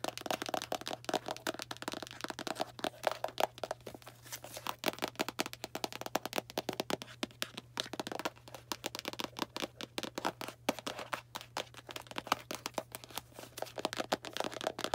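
A small, likely full Arm & Hammer cardboard baking soda box is held in the hand and tapped and scratched with long black nails. Rapid, dry, crisp taps and papery scratches come in dense, uneven bursts with no ring, over a faint steady low hum.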